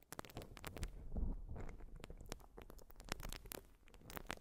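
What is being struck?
Urethane foam sponge.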